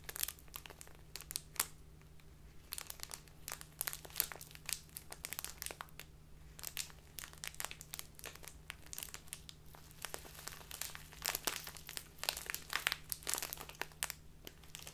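A small clear plastic bag full of loose tea is crinkled and squeezed between both hands, worked with fingertips and long nails. Dense, bright, crackling crinkles come in quick bursts over a low steady hum, with short sharp snaps throughout.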